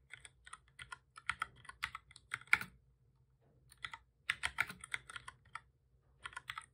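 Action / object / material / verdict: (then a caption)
tap / plastic computer keyboard / plastic / none. Both hands type steadily with their fingertips on a full-size black plastic computer keyboard with a hollow body, resting on a desk. Quick, bright, crisp key taps come in a run, pause for about a second, then resume. Each click is short and dies almost at once, with very little low end.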